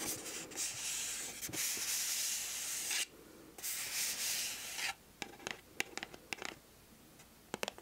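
Long acrylic nails scratch and rub across the surface of a hollow, pink printed cardboard gift box held close to the microphone. Steady, bright, hissing rubs fill the first three seconds and return briefly around the fourth second. These give way to a quieter stretch of sharp, light taps and clicks.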